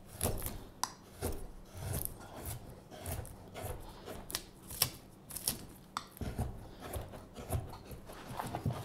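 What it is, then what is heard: Wooden spoon blank being whittled. A carving knife whittles the handle of a solid, pale wooden spoon blank held upright, scraping the wood. Repeated short scraping strokes carry a dry, bright rasp over a soft low rumble, with occasional sharp clicks as the blade catches.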